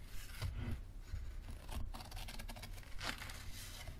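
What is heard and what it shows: Fingernails scratch the card back cover and spine of a yellow paperback book held edge-on. The result is a steady, dry scratching rasp with bright, papery texture over soft low bumps, swelling in a few short bursts before fading.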